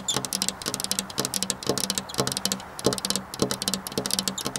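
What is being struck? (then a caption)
Glass window pane. Long black nails on both hands tap rapidly across a flat glass window pane. Quick, bright clicks come in uneven bursts over a faint low hum, with the pattern recurring in clusters about every half second.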